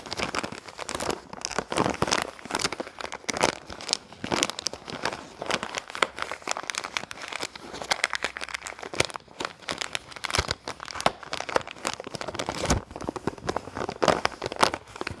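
A small, printed red and yellow plastic-film soap wrapper is held in both hands while the fingers crinkle and scratch it. Dense, dry crackling and crinkling bursts come in quick succession throughout, bright with sharp upper detail and very little low end. Each crackle stops almost instantly with no ring.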